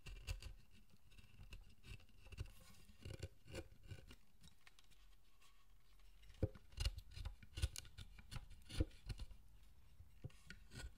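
A small knife or chisel scrapes fine detail into the surface of a solid pale wood carved statue. Short, irregular cutting and scraping strokes sound at a quiet level, with soft low thuds and brief bright scratches. The strokes grow sharper and more distinct in the second half.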